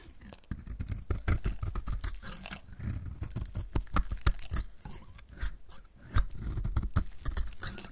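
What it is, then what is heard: Dry bar soap shaved with a blade. A hand-sized, pink-red painted bar of dried soap, held in the hand, is shaved and scraped with a utility knife blade, peeling off brittle curls. Dense, dry crackling and scraping clicks come in rapid bursts, with sharp transients over a low, rumbly body.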